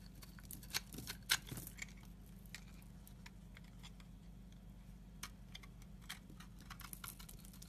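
A utility knife blade shaves flaky curls from the edge of a solid pale yellow soap bar held in the hand. Quiet, irregular crisp scrapes and bright ticking clicks come over a steady low hum, with a few sharper cuts standing out near the start.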